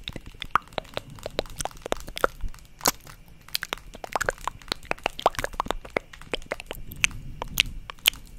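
A black, hand-sized plastic paddle hairbrush with a handle, bristles and a hollow-backed body is held up and tapped and scratched on its back with long acrylic nails. A rapid, irregular stream of sharp, bright clicks and crackly taps sits over a soft, dull hollow rustle, each tap dying away almost instantly.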